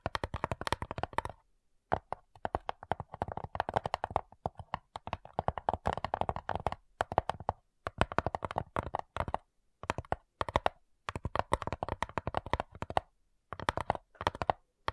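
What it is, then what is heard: Wooden cigar box. Long nails tap and scratch rapidly on the top lid of a small, hollow, light-wood cigar-style box with brass clasps. The taps come in quick, dense bursts separated by brief pauses. Each click is dry and hollow, with a woody midrange tone around 700 Hz and almost no ring.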